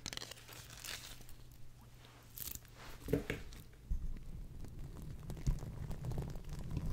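A soft, light pink nylon mesh bath loofah (puff), held in one hand, is crunched, squeezed and rubbed with the fingers close to the microphone. It makes quiet, crinkly, tearing-like crunches and rustles with a heavy low rumble, and louder bursts of crunching come around the middle of the clip.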